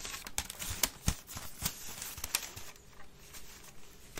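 Long red nails scratch quickly over a hollow, empty grey woven wicker waste bin, first upright and then turned upside down. The quiet, uneven scratching is bright and crackly, with sharp clicks and occasional low, hollow thumps.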